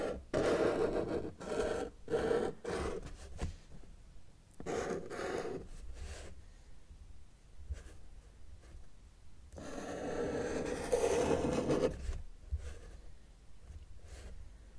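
A felt-tip marker tip is drawn across a flat white paper sheet on a table to trace an outline, with the left hand resting flat on the paper. Short scratchy, rubbing strokes come in quick uneven bursts, with a longer, steadier scrape near the end. The strokes have a dry, mid-pitched texture against a quiet background.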